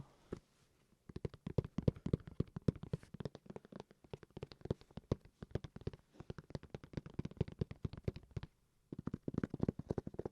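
A hard-shell carrying case for a game console is tapped rapidly with many short, dry, clicky taps, low and muffled with little ring. The taps come in dense bursts with brief pauses, a short gap near the start and another near the end.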